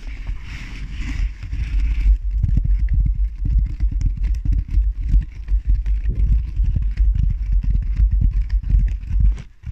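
Long dark nails scratch and tap a large round Christmas ball covered in red and natural burlap with lace trim, probably over a foam core. A soft, brushy scratching with a faint bright hiss opens the clip, then gives way to a rapid stream of dull, low, muffled taps and scrapes that die away almost instantly.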